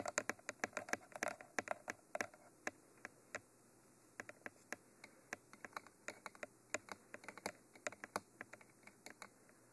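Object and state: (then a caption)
Fingernails tapping a textured plastic microphone tube. Long fingernails tap the top of a Mitra 3D Pro binaural microphone, a hollow, textured black cylinder, while the other hand steadies its end. The result is a quiet, irregular series of sharp, dry clicks with no ring. There is a brief pause just before the four-second mark before the tapping resumes.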